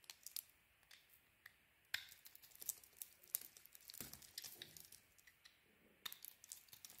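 A utility knife blade scrapes and cuts thin layers from the surface of a solid bar of soap, now mostly cream-colored after carving. The sound is quiet, bright crackling and scraping made of many short, dry ticks and crisp shaving strokes, with almost no low end. A few louder, longer cuts stand out among the softer scrapes.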